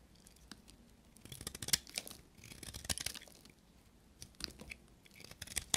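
A small, solid, dry soap bar with a gold coating and a cream interior is held in the fingers and shaved with a carving knife. Crisp, dry scraping strokes come in uneven bursts, their sound mostly high and bright with almost no ring after each cut.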